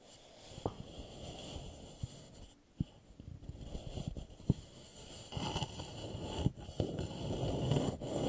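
Fingertips and short nails tap and scratch the sides of a small, polished, hollow wooden bowl placed upside down, after hands cup it. About seven soft, dull, low knocks stand out over a continuous scratchy rustle. The knocks die away almost instantly.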